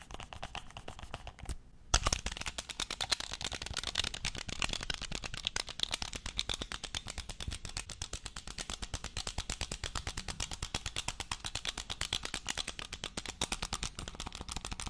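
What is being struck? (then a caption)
Plastic game controller. Fingernails and fingertips tap very fast along the shell and grip of a black, hollow, hand-sized plastic game controller held upright close to the mic. The result is a dense stream of sharp, bright, hollow clicks with little ring, broken by a brief pause just before 2 seconds, then continuing steadily to the end.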